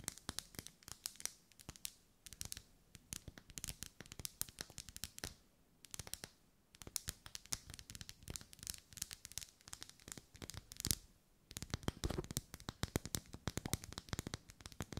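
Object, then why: Ribbed wax pillar candle. Long nails scratch and tap along the vertical ribs of a lit, hand-held pink pillar candle of solid wax. The result is a dense run of quick, dry, bright clicks and scratchy strokes with very short decay. The taps are broken by brief pauses near 2, 6 and 11.5 seconds.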